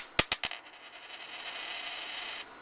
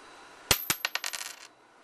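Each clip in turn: First: Three sharp, bright clicks die out at once, then a faint rattle as the zinc penny settles, with no ring. Second: A dropped copper penny bounces in quickening clicks, each carrying a thin, bright high ring.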